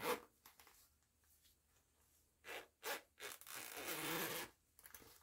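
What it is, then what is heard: Fabric pouch zipper. Fingertips with long nails pull the zipper pull along the purple nylon coil zipper of a small, soft fabric cosmetic pouch printed with a purple and orange mandala pattern, zipping it open and closed. A sharp opening rasp and faint ticks and rustles are followed by two short zips and a longer, steady, bright zipping run that stops abruptly, then a few light clicks.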